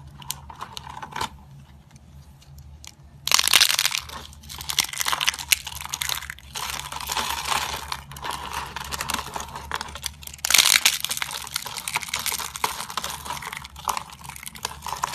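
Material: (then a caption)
Soap. Fingertips press and crush thin, dry, white soap slices with glitter, arranged in rows, breaking them into flakes. After a quiet start with faint crackles, dense, bright crunching bursts in loudly at about three seconds and again at about ten seconds, with steady crisp crumbling in between.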